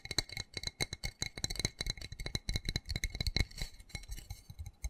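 A small black plastic flower pot with an embossed white pattern, filled with soil and holding a cactus, is held in the hands and quickly tapped and scratched with fingernails along its textured side. It produces a rapid, uneven run of dry, clicky taps with a high, bright edge, mixed with soft thuds and scratchy rasps. Each tap dies away almost instantly.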